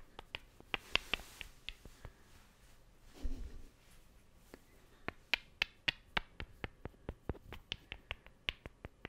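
Two small, solid, light wooden cubes are held close to the microphone and struck and scratched against each other with the fingertips and nails. The result is a run of roughly twenty sharp, dry, bright clicks with almost no ring, plus a short, softer scratching rub in the middle.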